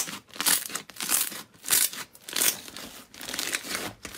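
A mound of yellow slime packed with small white foam beads (floam) on a white surface is squeezed and pressed with both hands with long painted nails. The squeezing gives repeated bursts of crunchy, bright crackling and crinkling with very little low end, swelling and fading with each press.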